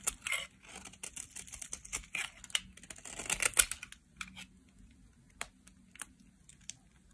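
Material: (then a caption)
Soap. A solid red-striped dry soap bar held in the hand is shaved with a metal utility knife blade, down to a small remnant. Dense, crisp, bright scraping and crackling fills the first four seconds. It then thins to sparse, sharp clicks and short shaving strokes.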